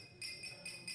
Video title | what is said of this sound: HOW DUNGEONS & DRAGONS IS SAVING LIVES & THE WHISKY IS GREAT - CHARITY FOUNDER GARY COLMAN EXPLAINS | if you can hear my wedding ring tapping against it